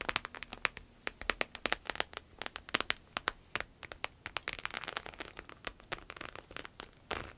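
Long nails tap and scratch across the embossed scales of a small, glossy red patent vinyl croc-embossed wallet held on a table. Quick, crisp, bright clicks come in a rapid, uneven patter, with a brief stretch of softer scratching near the end.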